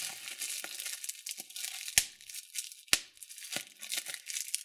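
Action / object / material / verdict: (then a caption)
scrape / plastic bubble wrap / plastic / none. Thumbnails and fingertips pinch clear plastic bubble wrap, popping single bubbles. A steady bright crinkling rustle runs throughout, broken by sharp snapping pops, with two loud pops standing out near the middle of the clip.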